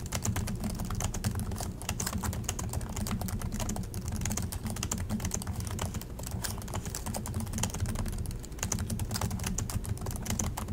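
Both hands type continuously with their fingertips on the plastic chiclet keys of an Acer laptop keyboard. The result is a rapid, steady stream of sharp, bright clicks over a constant low hum.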